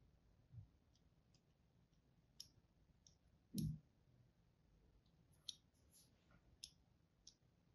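A palm-sized, blue-and-white striped solid bar of dry soap, held in one hand, is scored and cut with a thin wire or thread and a small pointed tool held by fingertips with pink nails. Seven quiet, clicky scraping ticks are heard, with brief bright edges, over a low, soft background. The loudest, a duller scrape, comes a little before the middle.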